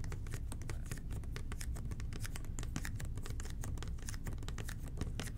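Fingertips tap rapidly on a hollow red plastic toilet cleaner bottle with an angled nozzle, held in both hands. The result is a steady patter of short, dry clicks over a constant low hum.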